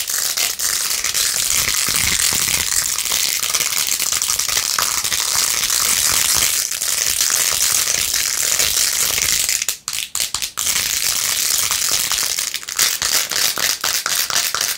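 Long nails scratch fast over the beads of a pink faux-pearl jeweled plastic phone case with a rose-gold rim. The result is a dense, steady, bright scratching and clicking rattle with almost no low end, broken by a few brief pauses around the ten-second mark.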